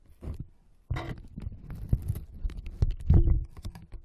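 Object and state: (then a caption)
Cardboard box. Fingernails quickly scratch and tap the walls of an open, hollow, brown corrugated cardboard box resting on carpet. The result is a fast, irregular stream of dull, low, hollow thumps mixed with rough scratching, each tap dying away almost at once.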